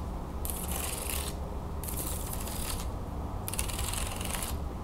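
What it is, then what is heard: Wooden folding fan. Long nails flick and scratch across the thin perforated slats of an open wooden folding fan, then fold the fan closed. Three bursts of bright, rapid clicking and scraping rise over a steady low hum, each lasting about a second, separated by short pauses.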